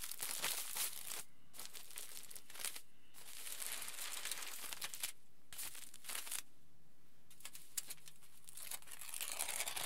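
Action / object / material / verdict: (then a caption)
scrape / aluminium foil sheet / aluminium foil / none. A flat, wrinkled aluminium foil sheet is rubbed and gathered by hands and fingertips, producing bursts of bright, crisp crinkling and crackling. Brief quiet pauses separate the bursts, and the whole clip stays soft and close.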